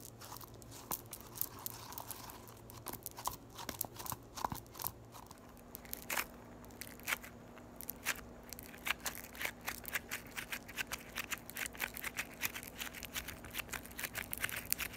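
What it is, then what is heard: Floam (foam beads in slime). A solid lump of yellow floam (foam beads in slime) is poked with the thumbs and squeezed between both hands, giving dense, rapid crunching and bright crackling pops. The sharp clicks come irregularly throughout, growing busier in the second half, over a faint steady low hum.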